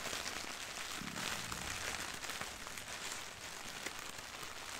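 Long painted nails and fingertips tap and scratch a medium white printed soft plastic poly mailer bag with cartoon doodles and the text "Beauty is being human," lying on carpet and holding packaged items. A steady, bright crinkling hiss runs throughout, with soft taps poking through.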